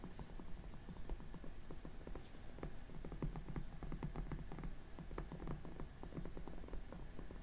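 Long glittery acrylic nails on both hands tap and scratch the cheeks and sides of the face of a hollow, life-size soft vinyl/plastic makeup-practice mannequin head wearing pink makeup. The result is a steady stream of quick, quiet, dull taps with short scratchy strokes, heavy in low thuds and dying away almost instantly.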